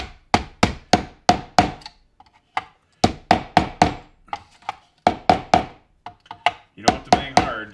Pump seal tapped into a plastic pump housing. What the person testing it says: You don't have to bang hard, so it sounds solid to me.